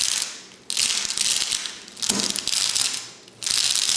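A tall clear glass cylinder vase, lying on its side and full of flat glass gems, is held steady by one hand while the fingertips and short painted nails of the other tap and scratch across the glass surface. Bright, hissy scratching comes in repeated bursts, each fading before the next starts abruptly, with a faint low rattle of the gems at one onset.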